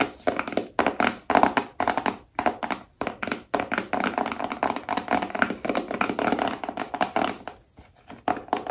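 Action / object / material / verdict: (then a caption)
tap / small rigid cardboard box / cardboard / none. Long nails tap quickly on the top and back of a small, rigid cardboard iPhone box held in both hands. The taps are short and dry with a hollow mid-range knock, almost no low end, and very little ring. They come in quick bursts that blur into a steady patter, with brief pauses between runs.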